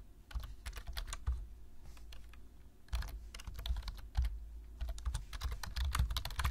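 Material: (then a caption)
Plastic. Fingertips tap the keys of a black plastic low-profile computer keyboard in fast typing. Quick, bright plastic clicks ride on a soft low thud, with short bursts of keystrokes that die away almost at once.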